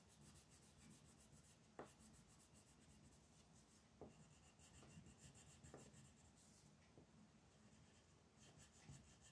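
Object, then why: Wooden colored pencil on a paper sheet. A wooden colored pencil steadily rubs and scratches across a flat white paper mandala coloring sheet resting on a table. The quiet, continuous scratchy strokes are broken by two brief, sharper taps.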